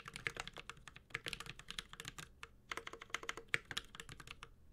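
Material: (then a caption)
Aluminum, plastic. A Space65 Cybervoyager 65% mechanical keyboard with an aluminum case, plastic keycaps and Holy Panda switches is typed on with the fingertips of both hands. It makes a steady run of quick, bright, clacky key taps with short pauses, each hit dying away almost at once and centered around 2.2 kHz.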